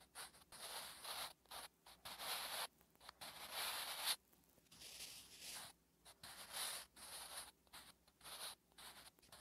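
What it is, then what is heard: Pencil writing on a paper notebook page. A wooden graphite pencil writes Korean letters on a flat, solid lined paper notebook page, making bright scratching strokes. The strokes come in irregular bursts with short pauses between them, each a dry, high-pitched scratch on the paper.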